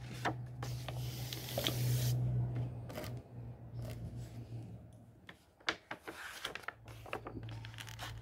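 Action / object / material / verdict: scrape / paper pages of a hardcover book / paper / none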